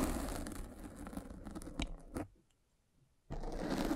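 A derma roller with metal spikes is rolled across a black foam windscreen on a microphone, making dense, crunchy scratching with sharp crackles. The sound breaks off into near silence around the middle, then the rolling resumes just as loudly at the end.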